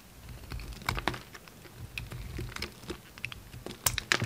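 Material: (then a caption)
Soap. A steel utility knife blade carves and scrapes a solid, hand-sized pink bar of soap held in the hand, cutting away crumbly, powdery shavings. The result is a rapid, irregular series of short, dry, crisp scratches and crackles with bright upper edges over a faint low rumble. The last second brings louder, sharper scrapes.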